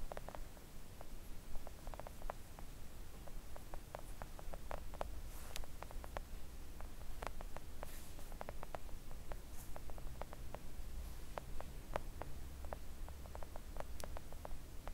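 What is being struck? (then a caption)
Silicone mat tapped with long press-on nails. Long coffin-shaped press-on nails gently tap a thin, solid, flat pink silicone nail art mat lying on a table. A steady run of quick, soft, dry clicks and ticks, irregularly spaced, with some brighter taps standing out. The taps sit over a constant low hum.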